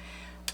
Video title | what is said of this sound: DIY Party Projects | it sort of sounds like glass